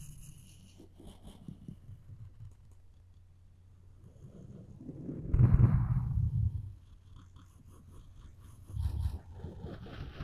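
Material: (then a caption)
Wood. Floss string is rubbed along the edge of a solid wooden spoon handle, producing a soft, low rumbling scrape with faint, bright ticks above it. The friction swells into a louder, fuller rasp midway through, fades back, then surges briefly again near the end.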